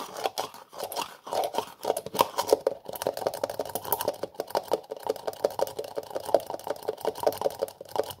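Fingers twist, tap and scratch the black plastic screw lid of a small cream-colored plastic jar held in one hand. A dense, continuous stream of crisp clicks, taps and scratchy rasps centers in the midrange with faint bright edges and no low end. Each sound stops dry and short, with no ring.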